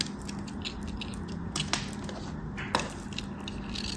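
A small, solid, white round hotel soap bar, held in fingers with long manicured nails, is shaved and carved with a metal craft knife blade as soap flakes fall away. A steady, soft, crackly scraping runs throughout, broken by a few sharper crunchy cuts, over a faint low hum.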